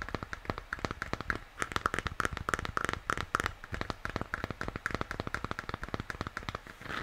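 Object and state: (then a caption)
Plastic moon lamp. Fingertips and nails scratch and tap the shell of a hollow plastic moon lamp, first with its base facing forward and then turned over. Rapid, dry clicks and scratchy ticks come in quick bursts with very short decay and a hollow tone around 1.3 kHz.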